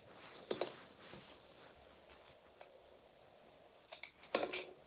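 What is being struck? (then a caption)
Bar soap cut with a metal blade. A metal utility knife blade carves and shaves thick strips from a solid, hand-sized, purple glittery Palmolive soap bar held in the palm. Soft, dry scraping crunches come in short bursts over a faint steady hiss, with the loudest cuts near the start and the end. The sound is quiet and mid-toned, with little low end and a dull high edge.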